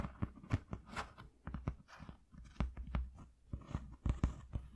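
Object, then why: Corrugated cardboard sheet. Fingertips tap quickly on a flat white corrugated cardboard sheet resting on black cloth. The taps come as a rapid, uneven series of short, dull, low thuds that die away almost at once, with a faint papery crackle between them.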